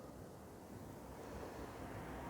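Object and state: Nothing is struck.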